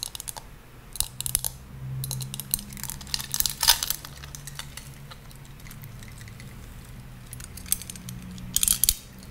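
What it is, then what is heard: Metal seashell compact tapped with nails. A small, hollow, gold seashell-shaped compact, apparently metal and with a pearl chain attached, is held in both hands while long pink nails tap and scratch its ridged shell. Bright, crisp clicks and scraping rasps come in clusters over a steady low hum, with a louder burst near the middle and another near the end.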